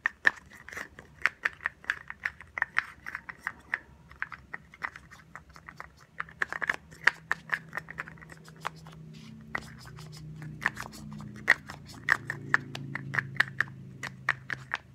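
A small white plastic roll-on deodorant bottle, held sideways, is tapped quickly with long nails. The taps are sharp, hollow plastic clicks in uneven bursts, each carrying a brief high ring near 1.8 kHz. A faint low hum rises underneath toward the end.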